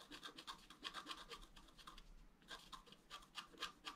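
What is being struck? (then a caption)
Black-coated scratch art paper scratched with a wooden stylus. A wooden stylus scratches short horizontal strokes across a flat, black-coated scratch art paper card, etching the rim of a drawn basin. The quiet, dry, bright scraping comes in quick rhythmic bursts, with a brief pause at the midpoint before the strokes resume.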